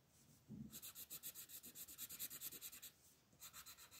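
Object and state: Colored pencil shading on paper page.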